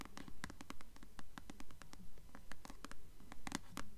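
Long nails scratch and tap the glossy paper cover of a solid blue paperback novel, *Delirium*, held upright. Quick, fairly steady taps mix with soft scratching, each with a brief bright click over a dull low thud, in a quiet, close setting.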